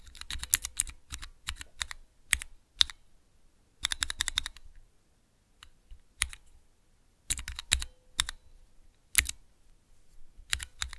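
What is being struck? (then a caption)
Clear plastic key switch tester. Fingertips press the keys of a small clear plastic 3x3 Cherry MX mechanical key switch tester. Bursts of sharp, bright plastic clacks come in quick runs separated by short pauses, each click ending almost instantly with no ring.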